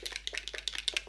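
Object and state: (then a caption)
Shaken primer bottle. A bottle of Yves Saint Laurent All Hours face primer is shaken before use, making a quick series of light, bright rattling clicks. Each click is short and dry, with most of the sound in the high frequencies and little low end, at a fairly quiet level.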